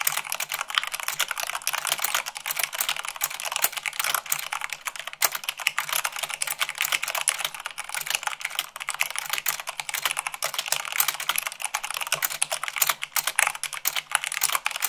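Long pink nails and fingertips type fast, at about 98 words per minute, on a full-size mechanical keyboard with white plastic keycaps on a black frame. The result is a dense, steady stream of crisp, bright clicks and clacks with very short decay and almost no low end.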